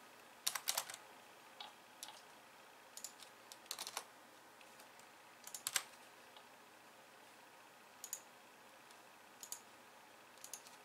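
A hollow pink-framed plastic computer keyboard with white keys sits on a wooden desk, and long painted nails type and click on it, later with one hand only. Short, bright, clicky keystrokes come in loose clusters with quiet gaps between them, and each ends quickly.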